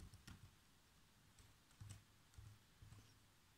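Bare fingertips with short nails tap the keys of a black plastic laptop keyboard in continuous typing. The sound is quiet, soft, low thuds with brief bright clicks that die away almost at once.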